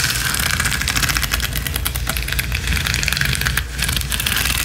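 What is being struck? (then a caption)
Rhinestone mesh sheet, small gems on a mesh backing. Long acrylic nails scratch fast and hard across a flat, roughly A5-size gold rhinestone mesh sheet (small plastic or metal gems on a mesh backing) lying on a spiky balance cushion. The result is a dense, steady stream of bright, crackly clicking and rasping over a low rumble, with a brief dip in loudness near the end.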